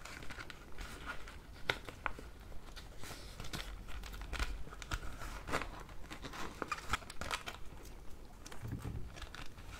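A thin, transparent pink plastic zip bag holding a nail brush, toe separators and clippers is crinkled and rubbed by fingers with long red nails. The result is a quiet, steady stream of irregular plastic crinkles and soft rustling, with occasional sharper, bright crackles.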